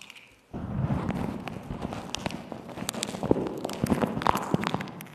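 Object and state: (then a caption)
Beeswax fabric wrap crinkled. A patterned beeswax-coated cotton wrap is stretched over the top of a microphone, and long nails and fingertips crinkle, scrunch and scratch the stiff, thin waxed fabric over its hollow shape. After a half-second of near silence, a dense, continuous crackling starts, with many sharp, bright clicks and soft low thumps over a rustling bed.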